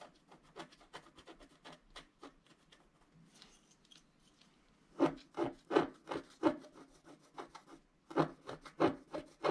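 A wooden stylus scratches the upper right area of a flat scratch-art card made of black wax-coated paper while the other hand rests on the sheet. Quick, dry scraping strokes come in an uneven rhythm, soft at first and fading to a faint hiss midway. They then return louder and sharper for the rest of the clip.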